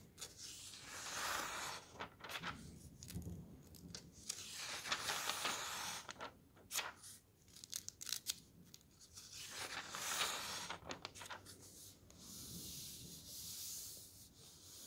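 Fingers turn the thin paper pages of a thick softcover camping guide, and a palm rubs each page flat. Bright, crisp rustling and swishing come in repeated bursts, with short sharp crackles as the pages flip and settle.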